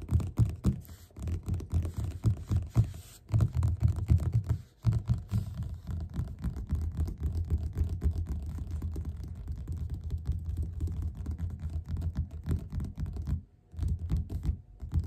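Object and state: Paperback book cover.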